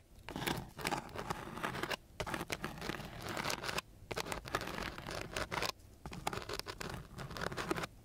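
A flat wooden stick is scratched across the gritty surface of a coarse sheet of sandpaper. It makes rough, dry, broadband rasping with bright grit crackle. The strokes come in four bursts separated by brief pauses.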